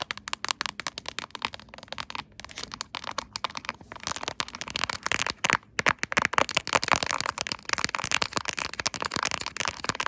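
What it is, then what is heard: Plastic phone case with raised quilted pattern. Long acrylic nails tap and scratch the raised diamond pattern of a silver, chrome-finish quilted plastic phone case held in a tripod holder. The result is a dense run of rapid, sharp clicks and crackly scraping with almost no low end and a bright, high sheen. The taps stop dead with no ring.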